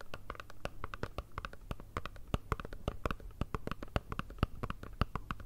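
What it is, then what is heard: Cardboard perfume box. Long red nails tap and scratch a small, hollow, rectangular black Chanel perfume box made of cardboard with a foil side. It produces a rapid, uneven string of dry, crisp clicks with no ring, over a steady low hum.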